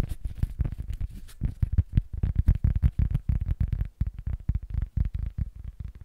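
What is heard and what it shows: A small, flat, solid rectangular cork board is held upright in both hands while fingertips and nails tap on it rapidly, with some scratching. The taps land as quick, dull, low thuds with almost no ring, sometimes in fast rolls and sometimes spaced apart. Faint bright scratchy edges sit on top of each thud.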